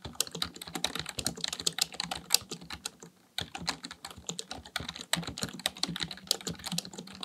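Fingertips type rapidly on the keys of a black plastic full-size computer keyboard on a desk. A dense run of short, bright clicks with almost no ring fills the clip, with a brief pause of near silence just past the three-second mark before the fast typing resumes.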